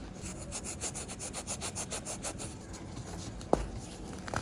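Small, solid pink-and-white pressed baking soda blocks are held in bare fingers and rubbed together over a bed of pink powder, giving a quick run of dry, gritty scraping strokes with a bright, crunchy texture. The rubbing then softens to a quieter grind, broken by a sharp crack about three and a half seconds in and another small snap near the end as the crumbly blocks break apart.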